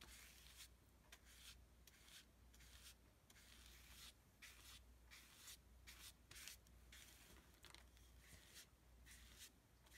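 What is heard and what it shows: A wide, flat synthetic brush is rubbed in repeated horizontal strokes across a flat, thick sheet of heavy painting paper layered with dark and white paint. Each stroke makes a soft, bright, scratchy rubbing swish, and the strokes come in a steady rhythm over a constant low hum.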